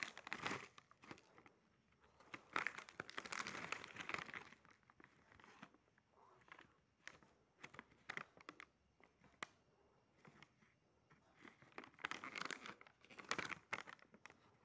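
A small, flat, sealed printed plastic/foil snack pouch of Choco Lito mini cookies, with the cookies inside, is held at both edges, flipped, and crinkled with the fingertips. Bright, dry crinkling comes in bursts with quieter pauses between them, and the dense crackle carries little low end.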